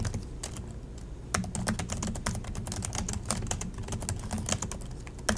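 Both hands type continuously with their fingertips on the plastic chiclet keys of an Acer laptop. It makes a steady, rapid run of sharp, bright plastic clicks over a low, dull thud from the keys bottoming out, with a few louder taps standing out.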